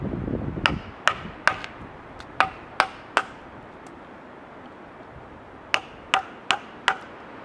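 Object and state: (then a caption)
Cedar log carved with mallet and chisel. A wooden mallet drives a chisel into a solid cedar log, close up, in carving work. Sharp, dry wooden knocks come in two runs separated by a pause of a few seconds, each knock short and bright with almost no ring. A soft low rumble sits under the first moment.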